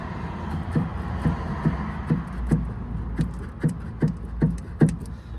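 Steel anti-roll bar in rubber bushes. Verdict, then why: Loose. The steel anti-roll (sway) bar of a Fiat Panda 4x4 is shaken by hand, rattling loosely in its worn rubber bushes. Repeated dull low knocks come about two to three times a second, each with a short bright click over a steady low rumble. The worn bushes let the bar knock, which is the source of the rattle under the car.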